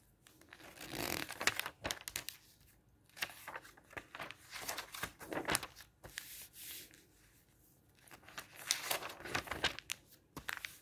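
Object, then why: Thin printed magazine pages. An open magazine with thin printed paper pages lies flat while a palm and fingertips rub and smooth the pages and flip them over. Soft, bright papery rustles and crinkles come in bursts, with short quiet pauses between strokes and turns.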